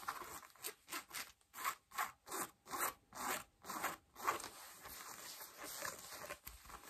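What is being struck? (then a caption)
Cotton denim jeans. Long nails scratch worn beige cotton denim jeans and fold the rolled hem or cuff edge, making a rhythmic series of bright, raspy scratching strokes. After about four seconds the separate strokes give way to a softer, continuous rubbing and rustling of the fabric.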